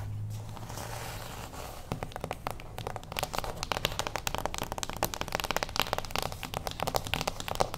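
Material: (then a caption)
Cardboard. A small, closed beige cardboard gift box standing on its edge is tapped with the long acrylic nails of both hands. After a quiet start with a low hum, a quick, irregular flurry of sharp, dry clicks and light hollow taps follows, spread from a low body to bright tips. Each tap dies almost at once.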